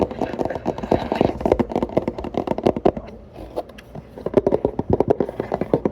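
Fingertips tap rapidly on an empty Planet Oat oat milk carton made of paperboard. The result is a dense run of short, dry, hollow taps centered in the mid-range, with a brief quieter lull midway before the tapping picks up again.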